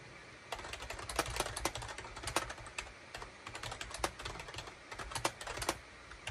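Fingertips type rapidly on a full-size gray and cream SHIPADOO K600 wired USB plastic keyboard, with a hollow plastic case and keycaps, resting on a desk mat. Quick, bright, hollow plastic clicks and clacks come in uneven bursts over a faint low hum, each keystroke dying away almost instantly.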